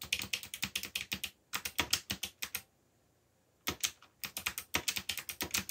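Fingertips press the black plastic keycaps of a backlit mechanical computer keyboard in fast typing taps, giving a run of crisp, bright clicks with very little low end. About 33 keystrokes come in two bursts separated by a silent pause of roughly a second before the typing picks up again.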